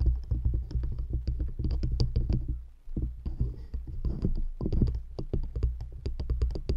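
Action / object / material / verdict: tap / stacked wooden rings / wood / none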